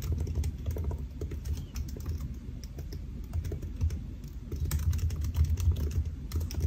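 Fingertips of both hands type on a solid silver aluminium laptop with black plastic keys, resting on a white desk. A steady run of soft, short, low-heavy key taps fills the clip, with faint bright clicks on top and no speech.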